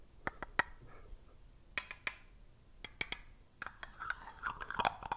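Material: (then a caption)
Plastic. Fingertips and short nails tap and twist the screw lid of a small, round, hollow black plastic jar of the cosmetic type, held close to the microphone. Sharp, bright clicks come in irregular bursts with quiet gaps between them. Toward the end, a denser scraping, grinding texture builds as the lid is twisted.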